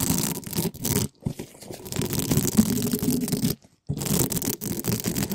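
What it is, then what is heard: Metal mesh microphone grille scraped. Gloved hands rapidly rub two small spiky plastic balls against the sides of a hollow black metal mesh microphone grille. The result is a dense, loud scratching and brushing texture with a strong low body, broken by two brief near-silent gaps before the rubbing resumes.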